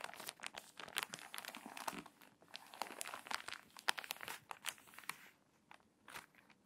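Long nails scratch and tap the crinkly pages of a water-damaged paper magazine, and a page is turned. Dry, bright crinkles and sharp clicks come in quick bursts with almost no low end. The sounds trail off into sparser taps near the end.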